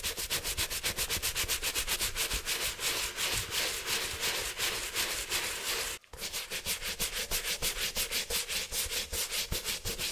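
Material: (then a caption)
Leather. A wet, dirty leather Nike Dunk sneaker, held in a gloved hand, is scrubbed over its upper with a stiff-bristle handheld brush in quick back-and-forth strokes. The result is a steady run of bright, hissy scrubbing rasps with a brief pause around the six-second mark.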